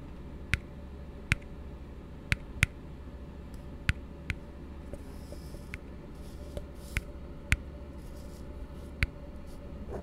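An empty hollow plastic cup rests open end down while a fingertip and nail tap on its base rim. About ten sharp, dry taps sound at irregular intervals, each a brief bright click that dies away almost instantly. Beneath them runs a steady low background hum.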